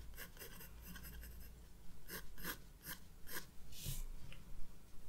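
A graphite wood-cased pencil sketches and shades lines on a thin white paper sheet of a spiral-bound sketchbook resting on a wooden desk, while the other hand holds the page. Quick, scratchy strokes come in short bright bursts, with a longer, brighter shading swipe near the end, over a steady low hum.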